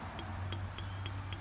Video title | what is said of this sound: Suzuki Quad Runner 250 Koorlong Restoration Part 20 | you can hear that little tapping